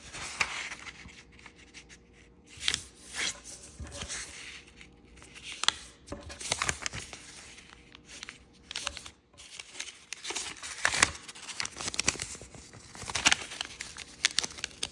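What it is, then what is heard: Origami paper sheet being folded. A small, thin sheet of purple kaleidoscope-pattern origami paper is folded by fingertips, and its creases are rubbed flat on a table. Bright, crisp crinkles and dry rubbing swishes come in quick, irregular bursts with very little low end. Each sound is short and dies away almost at once.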